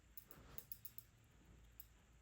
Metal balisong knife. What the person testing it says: once you start like shaking it a bit harder, you can hear the tap